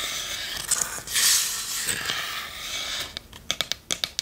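Long nails scratch and rub across the curved lid and sides of a small, hollow, varnished wooden chest, making a bright, dry scraping hiss for about three seconds. This is followed by a run of quick, crisp, high taps with almost no ring.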